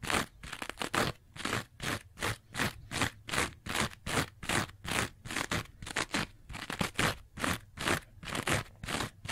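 A rectangular two-layer kitchen sponge, green scouring pad on yellow foam, is held upright while long nails scratch quickly across its scouring surface and edge. The result is a steady run of short, rough, bright scraping strokes at about two and a half per second, each with a crunchy, broadband texture and separated by brief pauses.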